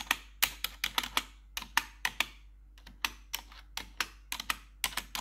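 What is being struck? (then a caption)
Plastic computer keyboard. Gloved fingers with long metal claw nails tap the keys of a black plastic RGB backlit computer keyboard, giving 20 sharp, bright clicks in an uneven rhythm. Each click is a short tick that dies away almost at once, with a faint steady low hum underneath.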